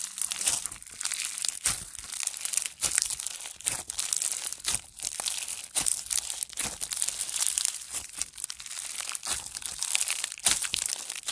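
A blue foam bead slime (floam) ball, a soft solid mass, is held, then squeezed and pinched with fingertips and thumbs. It gives off dense, bright crunching and crackling in rapid bursts, with almost no low end.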